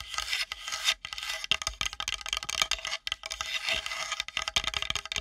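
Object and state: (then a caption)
Wooden plate. Long nails rapidly scratch and tap a flat, solid, light-colored wooden plate held edge-on above the microphone. The result is a dense run of bright, rasping scratches broken by quick, dry taps, with almost no low end and no ring after each stroke.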